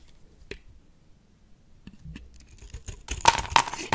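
A box-cutter blade cuts chips from a solid, dry, oval pale pink bar of soap embossed "NC," starting from the first cut. Sparse, crisp scraping cuts grow denser and louder, ending in bright, sharp crunches that stop quickly.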